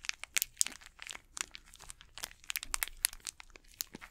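Both hands squeeze and crinkle the plastic wrapper of an unopened Snickers candy bar with their fingertips. The result is a quick run of dry, bright crackles and sharp snapping pops, with almost no low end and no lingering ring.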